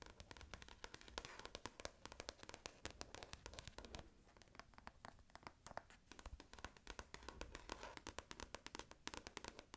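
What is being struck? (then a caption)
Paperback book with glossy card cover. Long nails scratch and rub the glossy card front cover of an orange paperback book held up closed, making a steady run of quick, dry, bright clicks and scrapes. The dense, very short ticks come in irregular bursts over a soft, low rustle.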